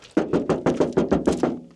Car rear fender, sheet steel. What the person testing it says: Ça sonne pas la grosse dalle de béton.